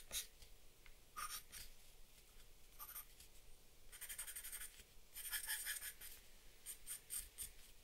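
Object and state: Charcoal pencil drawing on paper.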